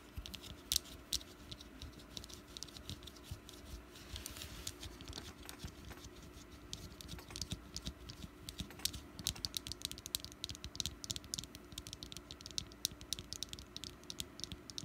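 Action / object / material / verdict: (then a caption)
tap / small wax pumpkin candle / wax / none. Long nails tap rapidly on the sides of a small, solid orange wax pumpkin candle. The result is a quick, steady patter of dry, bright clicks that stop instantly, with a faint low hum underneath.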